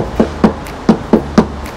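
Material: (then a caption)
Steel. Knocks on a steel body panel of a 2022 Honda HR-V, six short, crisp raps with a low-mid tone around 220 Hz and almost no ring. The panel sounds hollow, with open space behind it.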